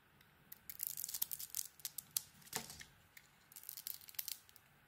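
A solid blue stamped bar of soap is shaved with a metal blade down to its pale core. Quick, bright scraping and crisp crackling strokes come in a dense run through the first half, then a louder single stroke, a short pause and another burst of scraping.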